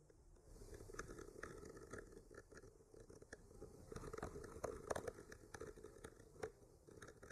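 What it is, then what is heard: Painted wooden panel scraped with a skewer. A thin bamboo skewer, held in the fingertips with a clip mic attached to it, slowly traces along the painted lines of a flat solid wooden board painted with white branches and pink blossoms. The result is a soft, dry, continuous scratching with many small irregular ticks and brief crisp clicks, centered in the low-mids.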